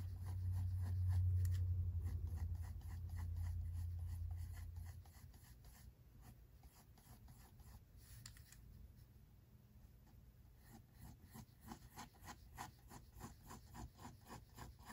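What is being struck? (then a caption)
Pencil on paper sketchbook page. A pink mechanical pencil shades hair strokes on white drawing paper in a spiral-bound sketchbook, making soft, dry scratching sounds. A low hum covers the first few seconds, then fades, leaving quiet, rapid, evenly paced pencil strokes that grow a little more distinct toward the end.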